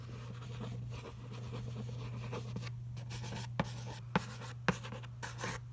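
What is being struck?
Glossy printed cardboard box.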